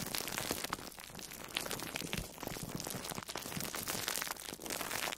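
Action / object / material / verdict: scrape / foam sponge wrapped in plastic cling film / plastic film / none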